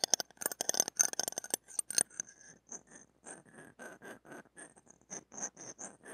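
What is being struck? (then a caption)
Stainless steel ear pick on a steel mesh microphone grille. The shaft of a stainless steel ear pick rubs and rasps across the small hollow metal-mesh head of a mini microphone ringed with metal. Bright, scratchy, close-up rasping comes in a dense, rapid flurry at first, then settles into slower, evenly spaced strokes. Each stroke is dry with no ring.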